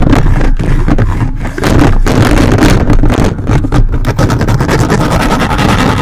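The grey plastic fingertips of a toy robot grabber hand, worked by its hand trigger, grip and scratch a hollow metal mesh microphone grille. The result is loud, continuous, rumbling scraping, heavy in the low end, with rapid rough strokes that dip only briefly.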